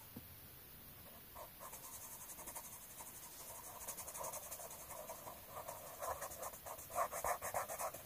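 A pink colored pencil held in the fingers scratches and strokes across a thin, solid sheet of an open paper coloring book lying flat, coloring in a flower. Quick, fairly steady back-and-forth strokes make a dry, scratchy rasp with a bright hiss. The strokes start soft and grow louder and more distinct toward the end.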